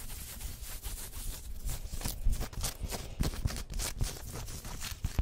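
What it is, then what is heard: Polyester jersey scratched by nails. Long white nails use both hands to scratch and rub the chest and printed badge areas of a worn black pinstriped polyester sports jersey with printed logos. The result is a continuous, dense scratchy rustle of fabric with bursts of bright scraping and soft, dull low thumps.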